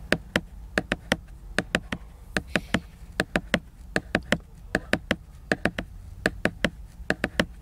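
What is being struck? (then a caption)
Laminated paper book cover. Fingernails tap and scratch the glossy laminated cover of a large picture book, giving 29 short, sharp clicks in quick, uneven clusters. Each tap is crisp and bright with almost no ring, over a faint low hum and soft scratching between taps.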